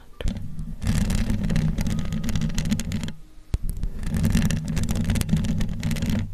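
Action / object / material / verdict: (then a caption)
scrape / metal mesh microphone grille / metal mesh / none. Long glittery acrylic nails on both hands scratch and tap across the hollow metal mesh grille of a large condenser microphone. The result is a dense, boomy, low scraping rustle with crisp bright scratchy detail on top. It comes in two long bursts separated by a brief quieter pause marked by a single sharp tap.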